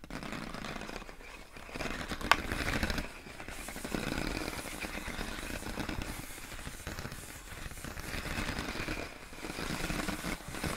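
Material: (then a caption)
Plastic. Long acrylic nails tap, scratch and rub the ribbed surface of clear inflated plastic air column wrap around a pink box. The result is a steady, crackly plastic scraping and rustling with soft taps, plus one sharp, bright click early on.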